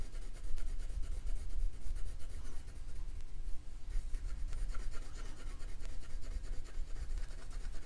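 A purple colored pencil held in the fingertips rubs and scratches back and forth over a thin printed paper dot-to-dot sheet lying flat on a wooden slat table, coloring in a witch hat while the other hand holds the sheet still. A steady stream of dry, scratchy strokes carries a bright, rasping edge over a soft low rumble, easing briefly about midway before the coloring picks back up.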